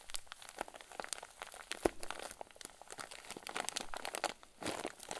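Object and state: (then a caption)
Plastic zip bag of fluffy filling. A clear plastic zip bag full of white fluffy filling is squeezed and pressed with the fingers and thumbs of both hands. It gives off soft, dense crinkling and crackling in quick, dry bursts, with a few sharper crunches and a brief louder rustle near the end.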